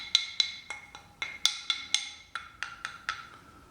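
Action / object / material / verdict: drop / hardwood pieces dropped on a table / hardwood / hard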